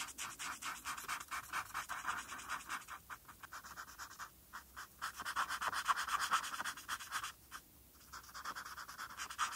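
A felt-tip marker scratches over a flat white paper coloring sheet in short, rapid strokes, colouring in the RARITY letters. The result is a dry, papery scratching centred in the mid range with a bright hiss on top. It runs in uneven bursts, with a brief quiet gap near the end before the strokes resume.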